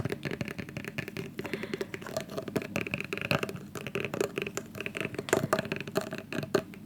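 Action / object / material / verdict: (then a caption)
tap / plastic hair gel container / plastic / none. Fingers tap rapidly and repeatedly on a plastic hair gel tub, producing hollow, wood-block-like knocks. The taps are short and dry, with a tone around 375 Hz and almost no ring.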